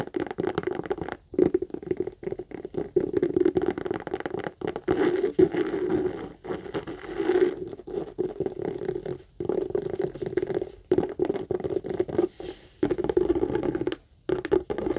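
Long acrylic nails rapidly scratch and tap the front panel of a hollow, medium brown pebbled-leather Michael Kors tote. The result is a dense, dry patter of scratchy taps with a muffled, low-mid tone, broken by brief silent pauses.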